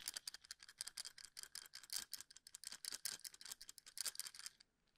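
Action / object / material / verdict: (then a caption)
tap / wooden toothpicks in a plastic cup / wood / none. Fingertips tap and scratch across the ends of wooden toothpicks packed tightly into a small cylindrical plastic cup, held in one hand close to the microphone. Quick, irregular dry clicks and scratchy rattles sound bright and crisp with almost no low end, each one stopping short. The clicking continues steadily, then stops just before the end, leaving near silence.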